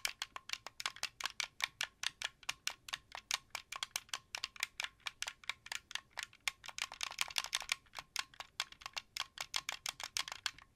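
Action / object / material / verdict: tap / plastic game controller / plastic / none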